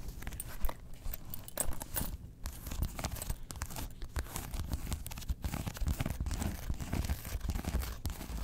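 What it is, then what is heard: Faux leather and felt zip wallet. Long acrylic nails scratch and pick along the glossy faux-leather Porg face panel and zipper edge of a small, hollow, closed zip-around coin wallet with a grey felt body, held and then set on fur. The result is a dense, continuous run of rough, crinkly scraping and soft picking, heavy in the low end and quiet overall, with quick, dry strokes that stop almost instantly.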